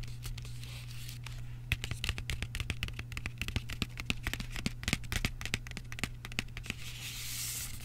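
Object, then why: Thin cardboard box with chocolate bar inside. Fingertips and short nails scratch and tap the face of a small, flat Lindt 85% cocoa dark chocolate box made of thin printed cardboard, with the chocolate still inside, while both hands hold it. A quick, irregular run of crisp, dry taps and scratchy rasps plays over a steady low hum, with bright papery hiss swelling near the end.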